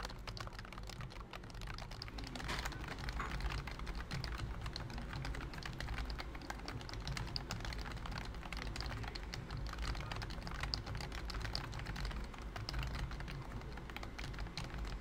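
Fingertips type steadily on a pink plastic BT21 COOKY computer keyboard with a hollow body and round white plastic keycaps. A dense, continuous stream of light, short plastic clicks and clacks runs for the whole clip over a steady low hum, each keystroke dying away almost instantly.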